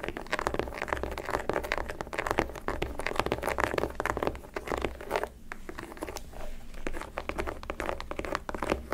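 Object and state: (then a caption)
Leather sneaker. Long decorated acrylic nails scratch and tap the leather panels and laces of a hollow pink, black and white leather high-top sneaker in Jordan style, held in the hand. The result is a dense, continuous run of crinkly scratching with quick, dry taps that die away almost instantly, over a steady low hum. There is a brief quieter lull around the middle.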